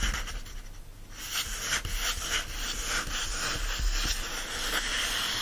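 Fingertips and nails of both hands rub and scratch across the printed paper pages of an open paperback novel lying flat on a fleece blanket. After a quieter first second, a steady stream of dry, papery scratching strokes sets in, bright and hissy with a soft low rumble underneath, repeating at an uneven pace.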